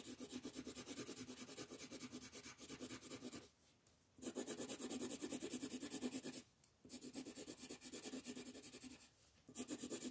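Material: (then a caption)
Paper. An orange colored pencil rubs back and forth across a thin printed paper coloring sheet lying flat on a dark wooden table, shading in a football while the other hand holds the sheet. Quick, soft, scratchy strokes of about three per second produce a bright, papery hiss over a low mid body. Three short pauses break the shading into four runs.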